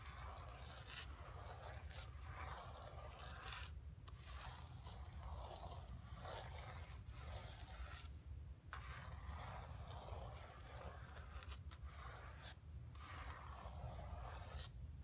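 Long nails and fingertips rub and scratch across a flat painted canvas board lying on carpet. A steady, dry, papery scraping hiss runs over a low rumble, with brief quiet gaps between strokes.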